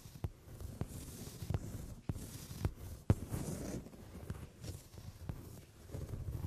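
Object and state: Leather sofa seat.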